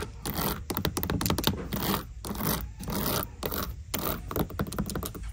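Long decorated nails scratch and tap the woven leather-look upper and toe of a black flat shoe sitting in a shoebox. Quick bursts of dry, rasping scratches mix with soft, dull taps, carried over a low thumping undertone with bright hiss at the top.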